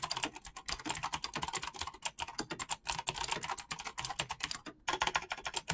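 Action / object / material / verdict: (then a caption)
tap / mechanical keyboard with plastic keycaps / PBT plastic / none. Fast fingertip typing on a black mechanical keyboard with clicky switches and PBT plastic keycaps. It makes a rapid, steady stream of sharp, bright clicks and clacks with very little low-end thump and almost no ring. There is a brief pause near the end before the typing resumes.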